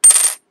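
A silver coin is dropped onto a hard surface to compare its sound with other coins. It gives a bright metallic clink with a sustained high ring that fades within about a third of a second. The ring confirms the coin is silver.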